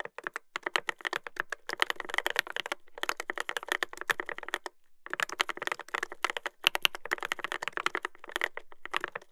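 Fingertips type continuously on a Dolphin 2021 mechanical keyboard with a brass plate and plastic keycaps. The result is a rapid stream of short, crisp, bright clacks with almost no ring. It runs in bursts, with brief pauses near 3, 5 and 6.5 seconds.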